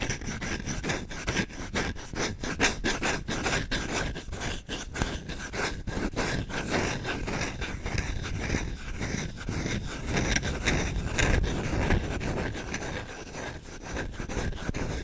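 A solid wooden spoon is held by the handle close to the mic while its bowl is scratched quickly with short-nailed fingertips. Rapid, uneven, dry scratching strokes run continuously, with a full low thump beneath crisp, bright high edges.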